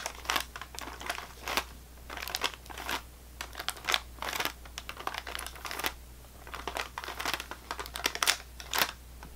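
A full sleeve of saltine crackers in thin wax or plastic wrap lies on a table and is tapped along the top with the long nails of the right hand. Quick, bright crinkly taps and rustles come in irregular bursts over a faint steady low hum.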